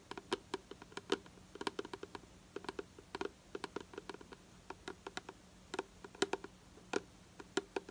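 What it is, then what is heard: Plastic bottle tapped with fingernails. Long nails tap rapidly on the side of a hollow purple plastic hair product bottle held in the hand, making quick, dry clicks in an irregular rhythm. Each tap is short and sharp, with a hollow, mid-pitched plastic tone and a bright top, set against a faint low hum.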